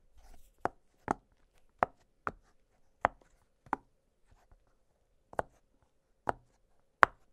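Fingertips press and pop the hollow bubbles of an octagonal blue silicone pop-it fidget toy lying flat on a glittery surface. Nine short, dry pops sound at irregular intervals, each a sharp mid-range snap with a brief bright edge and almost no ring, separated by near silence.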